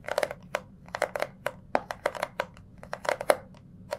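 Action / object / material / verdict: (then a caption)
tap / small cardboard box / cardboard / none. Fingertips tap, squeeze and scratch a small, hollow, rectangular orange cardboard jewellery gift box held in both hands. The result is a quick, irregular series of short, dry crackling taps and crinkles, each with a hollow midrange knock and a bright papery edge that dies away almost instantly.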